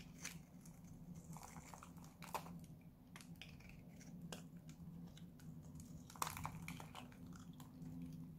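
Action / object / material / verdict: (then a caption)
scrape / bar of soap / soap / none. A small, solid white Lux soap bar that has dried out is held in the hand and cut and scraped with a utility knife blade, flaking into shavings. Dry, crisp crunching and scratchy clicks come in quick irregular bursts, with a few sharper snaps standing out over a steady low hum.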